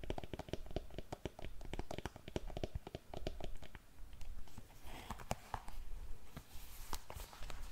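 Long nails tap and scratch the upper of a glossy black patent leather pump that is hollow and empty. A quick run of short, dry clicks with a low, muffled body is followed by a softer patch of scraping, with a few sharper taps near the end.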